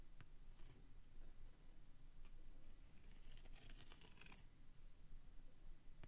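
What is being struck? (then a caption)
Textured cardstock booklet cover. A pointed wooden stick traces and scratches across the textured, leather-grain cardstock cover of a vintage Weekly Time Sheets booklet. Quiet, dry scraping and faint ticks sit over a steady low rumble, with a denser burst of bright, high scratching near the middle of the clip.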